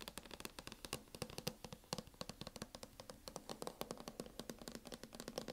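Fingernails tap on a MacBook cover in a quick, steady run of sharp, dry clicks. Each tap dies away almost instantly, with bright clicky highs over a faint low tone.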